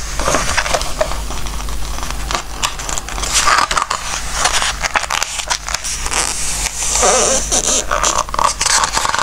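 Fingertips pinch and turn the glossy pages of a softcover Christmas book, then rub them flat. The result is a steady run of crisp, bright paper rustles and crackles over a faint low hum, with louder swishes as each page flips.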